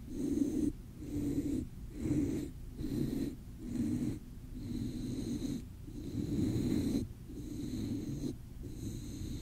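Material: Nothing is struck.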